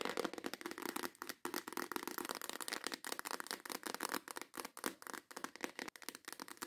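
Long acrylic nails tap quickly on the lid of a clear plastic organizer box full of nail tips, then tap the box while it is held up. The taps come in fast, dense bursts of dry, bright clicks with a light rattle and almost no low end. Each tap dies away almost instantly.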